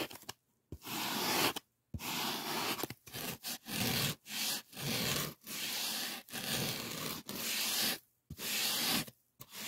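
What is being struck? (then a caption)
Polyethylene foam sheet edge. Fingertips scrape and rub along the edge of a white polyethylene packing-foam sheet in about fourteen irregular strokes, separated by brief silences. Each stroke is a dry, bright, hissy squeak-scrape, mostly high-pitched with little low end, stopping abruptly between strokes.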